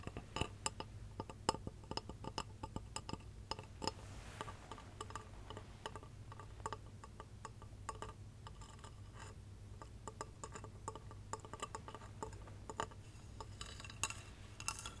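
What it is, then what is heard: Glass Christmas tree lamp. A small hollow light-up glass Christmas tree figurine, possibly acrylic, with a star topper and fairy lights inside, is held in one hand and tapped with long red nails. Quick, dense, bright clicking taps ring briefly around a clear mid pitch over a steady low hum.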